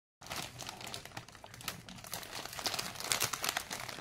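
A large, full and sealed, yellow printed plastic family pack of Britannia Toastea rusk is held in both hands with the fingertips and turned over from front to back, crinkling and rubbing the plastic film. A dense, irregular stream of bright, crackly crinkles starts abruptly and continues throughout, with sharper snaps rising toward the end.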